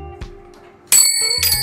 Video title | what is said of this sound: PANG-MALAKASAN NA SURPLUS MASSAGE CHAIR ORIGINAL GALING JAPAN GOOD AS NEW MABIBILI MO NG MURA DITO! | Matining. Basta maganda yung tunog niya.